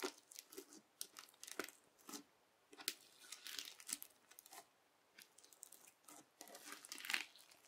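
A flat, clear teal bubbly slime is pressed and scraped with the edge of a yellow plastic knife, then lifted and folded. It gives quiet, bright crackles and crisp popping and tearing bursts, with clusters of sharp clicks. Each crackle dies away almost at once, and there is no low rumble.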